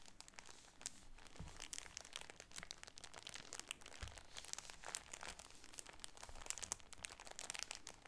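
A plastic-wrapped cream shower curtain package, turned over, is crinkled with the fingertips and nails. The result is a quiet, dense stream of bright, dry crackles and crinkles with no ring, and a couple of soft low thumps as the package shifts.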